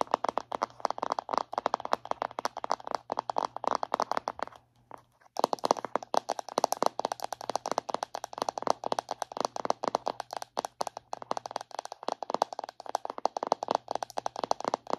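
Long red acrylic nails tap and scratch the lid and sides of a round, palm-sized black and white plastic Disney Villains body butter jar held in both hands. Rapid, crisp plastic clicks and light scraping run almost continuously, with a brief silent pause around the five-second mark. A faint steady low hum sits underneath.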